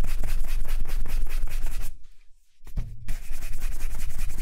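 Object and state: Leather ankle boot being brushed.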